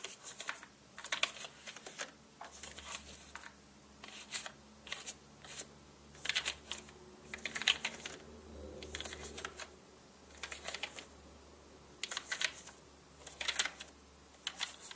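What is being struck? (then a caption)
Plastic mechanical computer keyboard. A small orange paintbrush brushes and flicks across the middle rows of a black mechanical keyboard with hollow plastic keycaps. Short bursts of bright, crisp rustling and light clicking alternate with quiet pauses. A faint low hum runs underneath.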